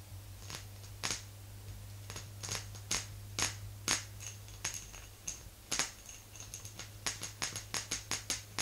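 Long green nails on both hands tap around the sides of a small round silvery jar, likely glass with a metal lid, resting on a fluffy rug. The taps are short, bright, high clicks that die away almost at once and come at an uneven, unhurried pace, over a steady low hum.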